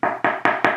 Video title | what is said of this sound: CAL KESTIS LIMITED LIGHTSABER UNBOXING - UNEXPECTED SURPRISE! | this is solid like wood it's solid wood